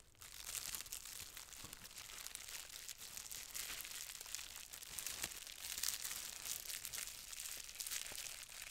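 A roll of green plastic bubble wrap with hollow air bubbles, shaped into a tube about 25 cm long, is held in both hands and squeezed and twisted by fingertips with long red nails. It gives a steady, bright crinkling with sharp little pops scattered throughout and almost no low end.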